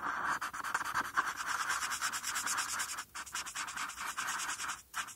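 A felt-tip marker scratches over a flat white paper coloring sheet in short strokes, colouring in the RARITY letters. The result is a steady, dry rasp of rhythmic scratchy rubbing, centred in the midrange with a bright hiss on top. It stops briefly near the three-second mark and again just before the end.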